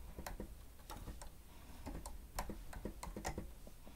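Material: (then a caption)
Plastic. Fingertips of both hands press and tap the keys of a grey plastic stenotype keyboard with a hollow housing while typing. Quiet, short, sharp clicks tick in an uneven rhythm, each with a brief bright snap over a low, hollow thump that dies away almost at once.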